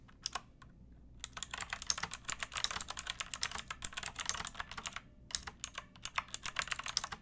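Long nails and fingertips type on a backlit pink mechanical keyboard with round plastic keycaps and a hollow plastic case. The clicks are bright and sharp with very short decay, coming first as a few scattered taps and then as quick, uneven bursts of typing with brief pauses.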